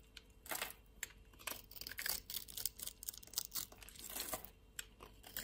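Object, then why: Bar of soap. A utility-knife blade cuts pieces and flakes off a solid blue soap bar, giving a quiet run of crisp, dry scraping and crackling strokes. Each stroke is short and bright, with almost no low end and no ring after it.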